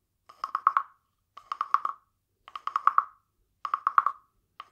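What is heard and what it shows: A small hollow carved wooden frog guiro, painted glossy green with a ridged back, is held in one hand and rubbed and tapped along its ridges with a green wooden stick. It makes short bursts of quick, hollow, woody clicks with a clear pitch near 1.1 kHz and bright overtones. Four bursts of about five clicks each repeat at a steady pace, and a fifth begins at the end, each click dying away almost at once.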